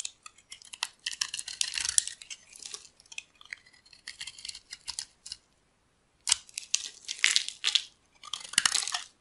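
A solid, rectangular, dry cream-colored bar of soap, held in hands with pink nails, is carved into flakes with a metal blade. Crisp, bright scraping and crunching cuts come in quick bursts, with a brief silence near the middle before the carving resumes.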